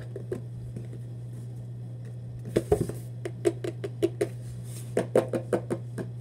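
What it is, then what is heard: Cardboard shoebox tapped with fingertips. A hollow Vans cardboard shoebox, held close, is tapped with fingertips on its side and lid. About eighteen soft, dull, hollow taps come in irregular bursts: faint and sparse at first, then louder and quicker from the middle on. A steady low hum runs underneath.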